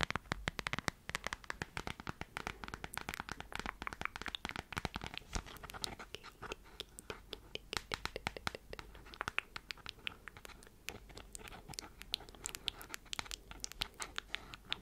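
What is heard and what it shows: Long white nails rapidly tap and scratch the flat surface of a transparent plastic phone case with a cartoon print and white edges, held up in the air. The result is a dense stream of short, sharp, bright clicks with crisp scratching between them, each click dying away almost instantly.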